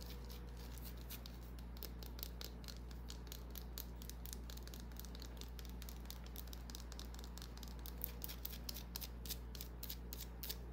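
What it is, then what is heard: Bar of soap scratched with nails. A small, solid white bar of soap held in the palm is scratched with long nails. Quick, bright scratching ticks come in a fast, uneven run over a steady low hum, all at a quiet level.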